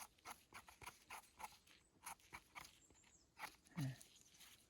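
A firm, crisp wild Russula (het phueng) mushroom is handled and picked while foraging, giving about a dozen short, sharp crunching snaps with bright crackle and a duller, deeper thud near the end. The crisp, quick-decaying snaps mark the mushroom as firm and fresh.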